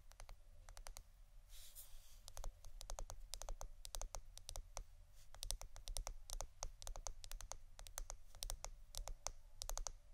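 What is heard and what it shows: Long blue-painted nails tap and scratch a hand-size roll of clear plastic packing tape with a hollow center. Rapid, crisp, bright clicks come in quick irregular bursts, with a brief scratchy rasp near the two-second mark, all over a steady low hum.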